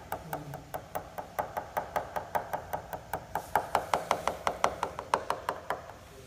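About 30 evenly spaced taps on the top skin of a composite glider wing, each a short, dry knock centred near 700 Hz. Partway through, the taps turn louder and brighter as they move over the solid main spar. That tone change marks where the back face of the spar is.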